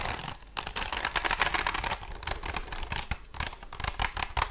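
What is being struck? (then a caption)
Spiral notebook with cardboard cover. A small spiral-bound tie-dye "To do list" notebook with a solid, glossy cardboard cover is held up and tapped and scratched with long blue nails and fingertips. Quick, crisp clicks and bright scratchy rasps follow one another in a dense, uneven stream, with short pauses between the bursts.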